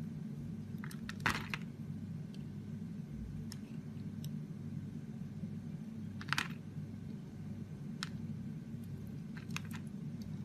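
A utility knife blade scrapes and carves the surface of a solid pink ridged Roxy soap bar held in the palm. Short, crisp crunching and scraping ticks come at irregular intervals over a steady low hum, with louder bright bursts near 1.3 and 6.4 seconds. Each cut stops dead, with almost no ring.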